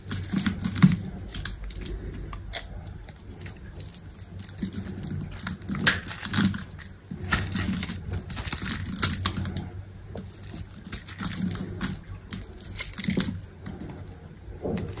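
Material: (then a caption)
Soap. A utility knife blade scrapes small cubes off a solid green bar of soap with a grid-scored surface. The result is a steady run of crisp, dry clicks and crackles with bright, short scraping bursts over a soft low rumble. A few louder snaps stand out along the way.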